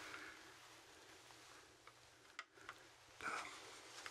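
A large, hollow, dry goat skull with long ridged horns is held in both hands while fingertips tap and scratch along the bone and horn. Quiet, bright, dry scraping runs throughout, broken by a few light, sharp taps, then a louder rasping scratch near the end.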